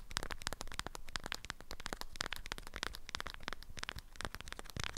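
An orange-print beeswax wrap folded around a small object is held in both hands while long nails tap and scratch the waxed cotton. It makes a steady run of rapid, crisp crackling clicks and papery scratches that stay fairly even in level for the whole clip.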